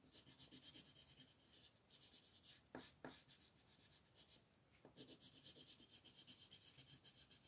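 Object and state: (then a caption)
Colored pencil on paper. A light blue wooden colored pencil scratches and rubs across a thin white paper mandala coloring sheet lying flat on a table. It makes quiet, rapid back-and-forth strokes with a bright, papery hiss, and a few sharper scrapes stand out near the middle.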